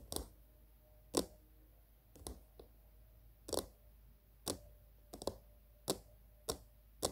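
Long green-painted nails tap the top rim and sides of a small, hollow, glossy pink plastic cylindrical container, possibly a jar or lid, standing on a patterned surface. Sharp, dry clicking taps come at irregular intervals, some in quick pairs. Each tap has a bright attack and dies away almost at once, leaving a faint, hollow tone over a quiet background.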